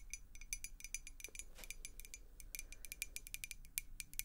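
Long acrylic nails tap rapidly and unevenly on a clear glass beer mug with a handle and blue logo, partly filled with water. Each tap makes a short, bright glassy clink with a ringing tone around 2.4 kHz that dies away almost instantly, over a faint low background rumble.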